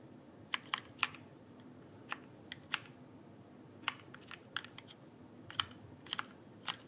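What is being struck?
Plastic keycaps of a mechanical keyboard.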